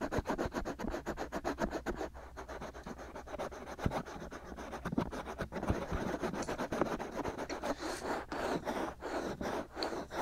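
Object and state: Silicone microphone ear being scratched.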